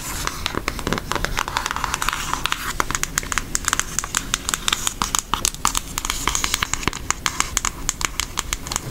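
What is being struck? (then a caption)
Cardboard makeup palette tapped with fingernails. Long nails tap rapidly on a flat, brown Hershey cardboard eyeshadow palette case. The result is a quick stream of short, dry, bright clicks with almost no ring, over a steady low background hum.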